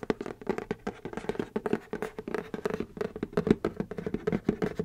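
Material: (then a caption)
Cardboard. A hand holds up a medium-size, hollow white printed cardboard Puma x Haribo shoe box with a gummy bear pattern and taps and scratches it with the fingertips and nails. Rapid, dry, hollow-sounding taps and scratchy strokes follow one another closely, each dying out almost instantly with no ring.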